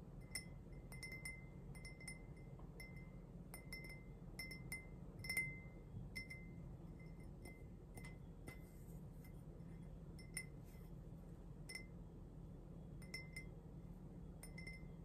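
An empty, hollow, pink speckled glazed ceramic mug is held close and tapped on its outer surface with fingernails. The taps come in quick clusters of short, bright clinks that ring briefly around 2 kHz, over a steady low rumble.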